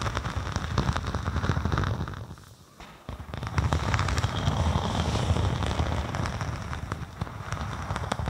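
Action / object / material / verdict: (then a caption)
scrape / thin synthetic snakeskin-textured vinyl sheet / vinyl / none. A thin faux snakeskin vinyl (synthetic leather) sheet draped over a binaural microphone is scratched and tapped with long acrylic nails. The result is a dense, crackling stream of bassy, muffled taps and rustling scratches. A brief quieter pause falls near the middle before the tapping picks back up.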